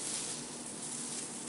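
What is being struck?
Nothing is struck.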